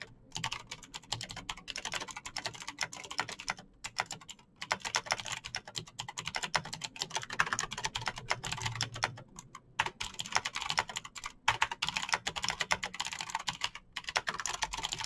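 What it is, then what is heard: Plastic mechanical keyboard. Fingertips type fast on a Razer BlackWidow backlit plastic mechanical keyboard with clicky green switches, producing a dense, steady stream of bright, sharp clicks. The tapping runs continuously with a few brief pauses, each keystroke short and crisp with almost no ring.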